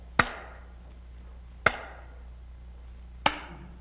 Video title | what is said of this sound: Polk Audio : technologie Dynamic Balance ! Cobrason | the resonances are reduced but what we can also see and hear is that there's some resonances left